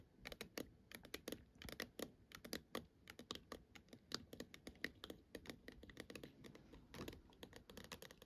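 Long acrylic nails tap and scratch with both hands on a hollow plastic star projector dome that sits lit up on a black base. A quick, uneven stream of short, bright plastic clicks stops almost instantly, with soft scratching between the taps.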